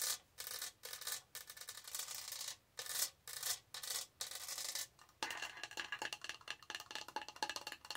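Long nails rub and scratch along the raised diamond-stud texture on the side of a tall, hollow pink plastic tumbler. Bright, rasping strokes come in separate bursts with short pauses, then shift near the end into a dense, rapid run of scratchy clicks with little low end.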